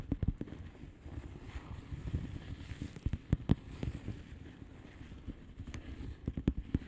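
A blue plastic bubble wrap mailer lies flat while long painted nails on both hands tap and scratch across its bubbles. Quick, dull, low-pitched taps are heard over a soft continuous scratching rustle, with the sharpest taps standing out near the start, middle and end.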